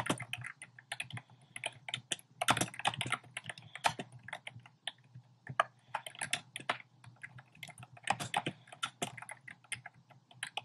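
Fingertips type on a compact plastic mechanical keyboard with a black plastic case and round pastel plastic keycaps. Quick, bright, clacky keystrokes come in bursts separated by brief pauses. A faint low hum runs steadily underneath.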